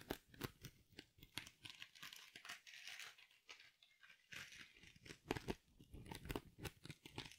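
A small silver glitter mesh-covered foam sponge is held close and squeezed and crinkled with fingers and long nails. The result is a continuous run of sharp, bright crinkling and crackling with soft squishy bursts, each burst cutting off quickly.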